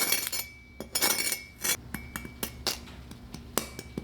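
A utensil taps the skin of a pork belly just roasted in a 400°F oven, producing a quick series of sharp, bright, glassy clinks with very short ring. The hard, brittle taps show the skin has roasted into a crisp crackling.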